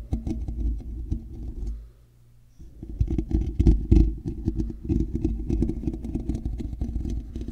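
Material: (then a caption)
Metal mesh. Fingers scratch the side of a hollow, black woven metal mesh microphone grille, producing a dense, low, rumbling scratch with fast irregular scrapes. The scratching drops out to a faint low hum for under a second, then resumes with a few louder scrapes near the middle before settling into steady rubbing.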